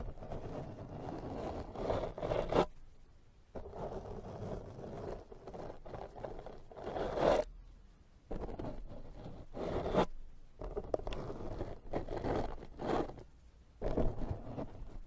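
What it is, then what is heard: Foam microphone windscreen being brushed. A pink silicone pastry brush with a clear handle rubs and brushes a black foam microphone windscreen. It makes long, muffled, scratchy rustling strokes that are dense in the low and middle range, with brief silent pauses between passes.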